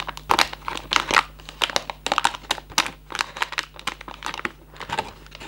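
Fingertips and nails rub and scratch the top flaps of a Raffaello cardboard candy box. The result is a quick run of dry, crinkly scratches and rustles, bright and papery, each burst dying away almost at once. A faint steady low hum sits underneath.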